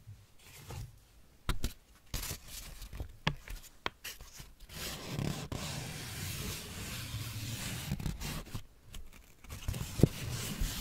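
A thin, crinkled white paper sheet is held in both hands and spread out while fingertips and nails rub and crinkle it. Sharp, dry crackles and snaps punctuate a soft rustle, which thickens into steady scraping friction in the middle before breaking back into scattered crisp crinkles.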